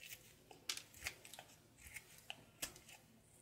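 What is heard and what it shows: A knife scrapes and slices a thinning light blue soap bar over a pile of soap shavings. The sound is a quiet series of crisp, bright, crackly strokes with little low end. Each stroke stops almost instantly.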